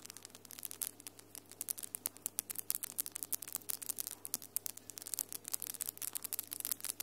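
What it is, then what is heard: Acrylic nails tapping. Long almond-shaped acrylic nails with glitter polish, solid, tap and rub against each other quickly between the hands. The result is a dense stream of sharp, bright clicks with short scraping rubs, all quiet and crisp, over a faint steady low hum.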